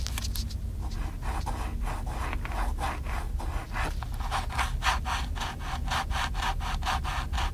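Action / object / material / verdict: scrape / handheld plastic camcorder casing / plastic / none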